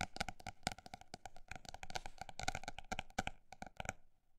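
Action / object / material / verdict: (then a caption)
tap / paper notebook / paper / none. A paper notebook is tapped in a quick, uneven stream of fast and slower strikes. Each tap is a short, dry knock with almost no ring and a woody tone centered near 750 Hz, plus some bright clicky edges. The tapping stops at about four seconds.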